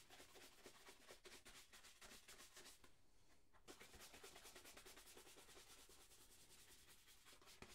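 A single black leather dress shoe, held up and hollow, is buffed with rapid strokes of a wooden-backed horsehair brush. The strokes make a quick, steady, bright scratchy swishing with a soft low thump beneath. The brushing eases briefly past the three-second mark, then resumes just as fast.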